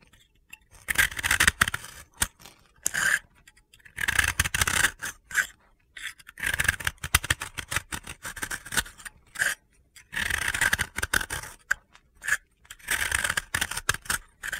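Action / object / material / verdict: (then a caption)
scrape / soap ball scraped with a blade / soap / none. A utility blade scrapes gritty layers off a hand-held, solid, dry pink soap ball. Bursts of bright, crunchy scraping with short dry clicks come in uneven strokes separated by brief pauses.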